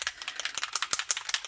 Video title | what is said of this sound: Making a shaker card | you can hear the little ball in there to help it shake up